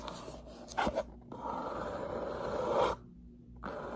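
Long natural nails and fingertips tap and scratch the top edge and front face of a medium, closed, hollow brown corrugated cardboard shipping box lying on a table. A couple of quick, sharp taps come first, then a long, rasping scratch with a papery midrange hiss. After a brief quiet gap, the scratching starts again.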